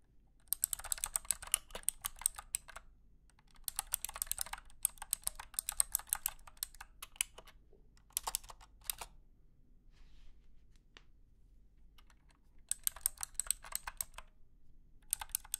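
A compact, backlit 60% mechanical keyboard sold as the $250 Blue Clicky Keyboard, with clicky switches, white and blue plastic keycaps, a hollow plastic case and an attached cable, rests on a carpeted surface while both hands type on it with their fingertips. Bursts of quick, sharp, bright clicks come in several runs separated by short pauses, each click dying away almost at once over a faint low hum.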